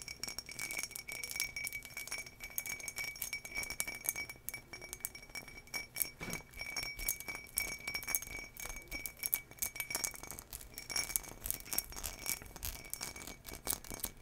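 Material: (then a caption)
Glass. Long nails scratch along the raised relief pattern of an empty turquoise embossed glass tumbler. A dense, steady stream of bright, scratchy ticks and light clinks carries a faint glassy ring near 2.3 kHz, with little low end.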